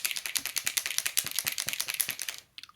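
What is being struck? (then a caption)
Acrylic paint marker, plastic barrel. A new Arrtx acrylic paint marker with a plastic barrel is shaken instead of having its nib pumped, and the mixing ball inside rattles in fast, bright clicks for about two and a half seconds. This confirms the pen has an agitator ball for mixing the ink. The rattling stops, followed by a few faint sounds and a low thump at the end.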